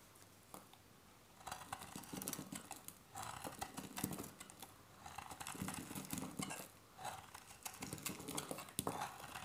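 A metal box-cutter blade carves and scrapes thin flakes off a solid, hand-sized beige bar of dry soap held in one hand, and the flakes pile onto holographic foil. The sound is bursts of crisp, dry scraping and crackling with brief quiet gaps between strokes.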